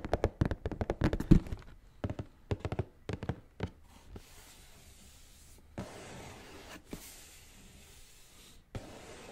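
Fingertips and nails tap and scratch the lid of a large, hollow, closed black cardboard Nike shoebox held level. A quick run of dull, hollow thunks in the first few seconds gives way to sparse taps over a soft, steady scratching hiss.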